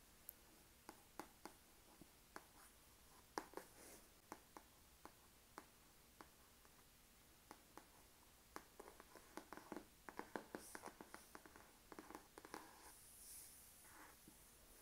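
A fingertip and nails scratch and rub across the glossy printed cover of an A4 spiral-bound catalog lying flat on a desk. The sound is a quiet run of sharp, bright ticks and short scratchy strokes with a few longer rubbing swishes. Each touch dies away almost instantly against near-silence.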